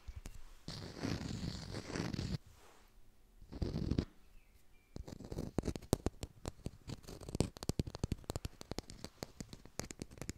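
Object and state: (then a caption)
Artificial textured lime. A textured artificial plastic lime is fast-tapped and recorded close on a hi-fi mic. Two bursts of low, rough scratching and rubbing open the clip, then a run of quick, dry, sharp taps fills the last half, each click dying almost instantly.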